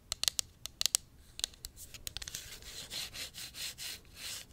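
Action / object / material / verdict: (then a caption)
tap / small plastic pump bottle / plastic / none. A small, hollow pink plastic cosmetic pump bottle is held in hand and tapped and scratched with long acrylic nails. A quick series of sharp, bright clicking taps gives way to rhythmic, hissy scratching strokes that swell and fade.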